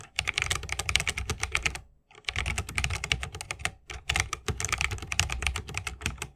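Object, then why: Mechanical keyboard with plastic keycaps in a wooden case. Fingertips of both hands type fast on a 60% mechanical keyboard with plastic keycaps on tactile Holy Panda switches, set in a solid bamboo wooden case with RGB lighting and resting on a wrist rest. Dense, bright clicky keystrokes with short, dry attacks and a soft low thock underneath pause briefly at about 2 seconds and again near 3.8 seconds before the rapid typing resumes.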